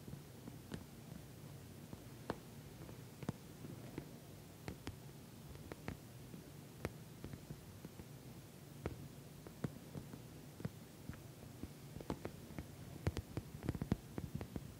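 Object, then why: Patent vinyl cosmetic bag. Long nails tap and scratch the glossy surface of an orange patent vinyl cosmetic bag. Sharp, brief clicks and taps stand out over a quiet, low, rumbly hush, growing denser toward the end.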